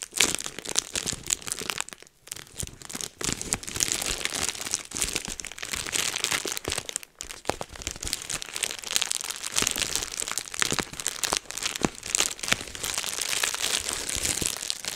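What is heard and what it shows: A rolled sheet of clear plastic bubble wrap is held in both hands while the fingers twist it, pop the bubbles and crinkle the sheet. The result is a dense, bright, steady crinkling dotted with many sharp, short pops, with brief quiet gaps around 2 and 7 seconds.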